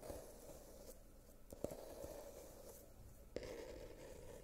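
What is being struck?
Small glitter-covered cardboard box.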